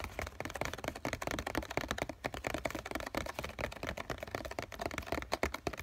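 A COCON printed cardboard tissue box, hollow with tissues still inside, is held in one hand and tapped with the fingertips on its flat bottom face. The result is a steady run of quick, soft, hollow taps with a dull papery thud and very short decay.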